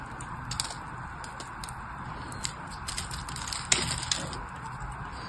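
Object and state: Bar soap being cut and crumbled.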